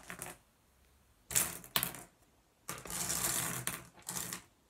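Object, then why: Small flat glass gem pebbles on a wooden surface. Fingertips rake and shuffle a pile of small, solid, blue iridescent flat glass gems on a wooden surface. Bright, clicking clatters come in short bursts with quiet gaps between them, and one longer, steadier rattle runs near the end.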